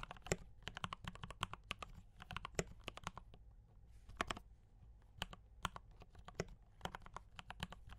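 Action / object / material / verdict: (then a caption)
tap / mechanical keyboard with plastic keycaps / plastic / none. Fingertips type continuously on a compact D84 mechanical keyboard with brown switches and cream and red plastic keycaps. Quick, crisp clacks come in bursts with short pauses, each keystroke decaying almost instantly. A steady low hum sits underneath the typing.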